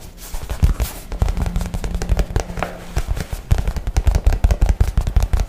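A light blue nylon messenger bag, soft and hollow, is held close to the mic and tapped and scratched fast with fingernails. The result is a rapid, uneven flurry of dull, bassy thumps with short, dry decays, mixed with soft scratchy brushing. The flurry grows denser and punchier toward the end.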